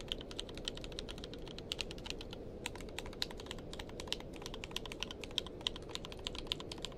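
Fingertips of both hands type continuously on a tenkeyless mechanical keyboard with plastic keycaps. The result is a rapid, steady stream of short, sharp clacks, bright and centered around 3.2 kHz. Each keystroke dies away almost instantly over a constant low rumbling background.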